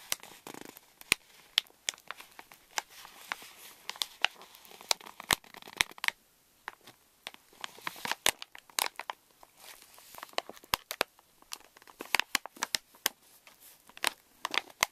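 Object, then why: Plastic foil snack pouch. Fingers crinkle and squeeze a pink Reese's Minis stand-up candy pouch of thin plastic foil laminate, held over a wooden table. Dense, bright crackling is broken by frequent sharp snaps and crunches with almost no low end. The crinkles come in uneven bursts, with quieter stretches in between.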